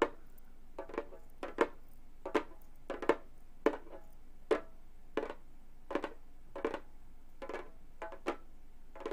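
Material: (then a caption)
Synthetic skin. Gold metal claw nails lightly tap the synthetic skin head of a hollow Remo frame drum. Short, dry taps with a hollow tone around 460 Hz die away almost instantly, falling in an uneven rhythm of single and closely paired strikes.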